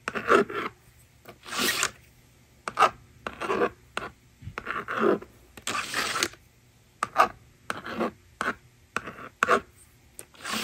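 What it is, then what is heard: Plastic magnetic drawing board being written on and erased. A plastic stylus scratches numbers onto a plastic magnetic drawing board resting on a table, making short, dry, rasping strokes separated by brief pauses. Longer, brighter sliding sweeps occur when the slider erases the screen. The bursts are irregular in timing, with little low end and almost no ring.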